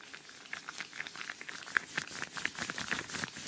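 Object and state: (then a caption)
Rubber gloves rubbing. Thin yellow rubber household gloves worn on both hands are rubbed and flexed close to a microphone, with the gloved fingers rubbing together and one hand raised at the end. The result is a quiet, irregular run of short squeaks and crinkly patter, centered around 1.6 kHz with bright edges and almost no low end.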